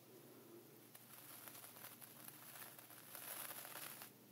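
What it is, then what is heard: Plastic zip bag of coarse salt. A thin dark wooden pointer traces and scratches lines through a layer of coarse sea salt inside a small clear plastic ziploc bag lying flat on grey fabric, while a hand holds the bag still. The result is a quiet, continuous gritty crinkling and scratching with a bright, hissy edge. It swells a little louder toward the end before easing off.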